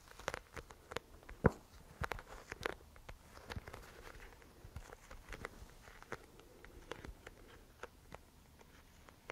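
Long nails tap and scratch across the face of a round, clear, sealed plastic disk full of yellow gel beads, held close. A quiet run of sharp, dry clicks that die away instantly, with soft, rustly scratching between them.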